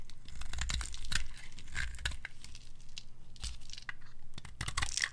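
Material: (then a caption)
Soap. A red-pink bar of dry soap held in a hand with long gold nails is scraped and carved with a metal blade, piling up pink shavings. Dense, irregular dry scraping and crunchy crackling strokes come in quick succession, with bright crisp edges over a low rumble.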